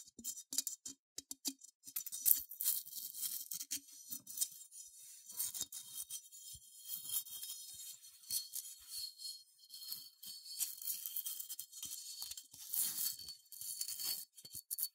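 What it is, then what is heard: Unglazed ceramic figurine being scratched. Long nails scratch the bumpy surface and hollow legs of a small cream, matte, unglazed ceramic sheep figurine. The result is quiet, dry, bright scratching in quick, uneven bursts, with almost no low end and no ring after each stroke.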